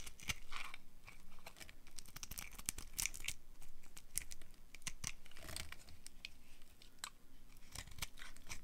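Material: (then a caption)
Soap. A hand-sized, dry, pink-and-dark-red striped bar of soap, held in one hand, is carved and scraped with a small metal knife blade, so thin curls shave off and crumble. Dense, crisp scraping and crunching continues throughout, with sharp, bright clicks and short tearing-like strokes over a faint low rumble. By the end the bar is heavily shaved, with a pile of soap shavings lying around it.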